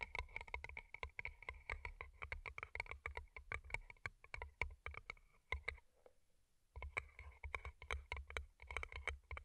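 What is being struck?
Paper cup covered in plastic rhinestones.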